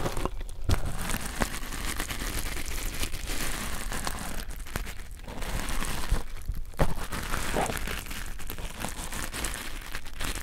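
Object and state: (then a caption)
Nylon scouring pad being pressed. A red nylon fiber scouring pad is pressed between two pencil microphones, producing a continuous crinkly, scratchy crunching over about ten seconds. The texture is dense and steady, with a heavy low rumble and a few brief louder crackles.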